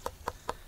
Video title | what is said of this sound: Harvesting Winter Squash | it's going to have a hard flesh that's going to sound hollow when you tap on it